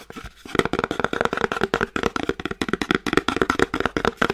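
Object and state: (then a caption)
Small cardboard box. Painted nails tap repeatedly and quickly on the top face of a small, flat, elongated, hollow kraft cardboard box held horizontally. The result is a fast run of short, dry clicks with a light hollow resonance around the midrange.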